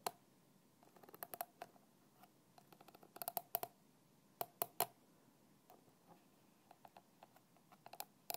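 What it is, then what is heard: Plastic bottle cap. A thin black stick taps and scratches the red plastic screw cap of a small translucent plastic bottle that lies on its side with liquid inside. The result is a quiet, irregular series of short, dry clicks and light scrapes with a hollow tone near 700 Hz and bright edges, each dying away almost instantly, with a few louder taps in clusters.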